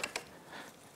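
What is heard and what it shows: The rubber front radiator hose on a Yamaha YFZ450R engine, with its clamp moved out of the way, is grabbed and shaken on its fitting. Two sharp, bright crunching clicks are heard, followed by a faint, airy rustle. The seal has broken loose, and the hose can now be pulled back.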